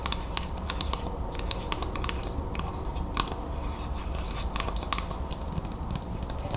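A thin, flat, round tin-plated steel Ball mason jar lid is held in both hands and tapped and scratched quickly with long acrylic nails. Rapid light clicks and short bright scratches, each with a brief metallic ring around 1.1 kHz, sit over a steady low rumble.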